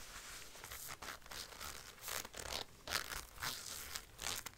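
Long light-blue nails scratch and tap the forearm sleeve of a worn black (possibly faux) leather biker jacket, across the grained leather and the teeth of its gold metal zipper. Quiet, bright, scratchy rasps and crinkly tearing-like bursts rise and fade at an uneven pace over a soft, steady hiss.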